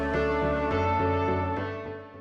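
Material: Nothing is struck.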